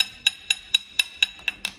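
A cooled bala baiana, a coconut candy with a glassy caramelized sugar shell, is knocked seven times at a steady pace. Each knock gives a short, bright, glass-like click that dies away almost at once. The clicks show the sugar shell has set very hard and crisp, like glass.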